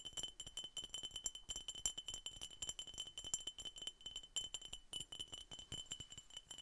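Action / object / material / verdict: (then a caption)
tap / glass soda bottle / glass / none. A glass Coca-Cola bottle is tapped repeatedly in a rapid, uneven rhythm, producing dozens of quick, bright clinks. Each tap dies away almost instantly, with a steady glassy ring near 3 kHz and higher shimmer above it. There is very little low-end weight.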